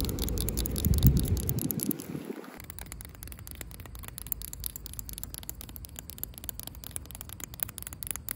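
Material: Asphalt.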